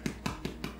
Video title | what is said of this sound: How to Make "Gulerodsbrød:" CARROT & SUNFLOWER SEED BREAD! | bread is done baking it has a nice Hollow sound when you tap it